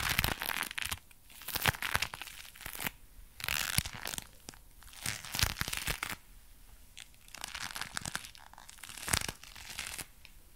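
A pair of dark brown leather gloves worn on both hands, held away from the microphone, is flexed, clenched and rubbed at the fingers. The leather creaks and crinkles in irregular, bright, crackly bursts with quieter rustling between them.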